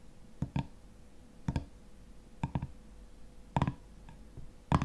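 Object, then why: Metal screw lid on a glass jar. A fingernail taps and scratches on the black metal screw lid of a full glass honey jar, producing nine short, dull clicks that fall mostly in closely spaced pairs at an uneven pace. Each tap is low and muffled and dies away almost at once, with only faint scratching noise between the taps.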